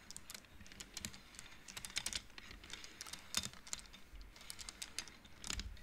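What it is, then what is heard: Wooden abacus beads clacking. Fingertips and nails rapidly push colored wooden beads along the metal rods of a large wooden-framed abacus, making them clack. A fast, irregular run of short, bright clicks and clacks is heard, each dying away almost instantly over a faint low hum.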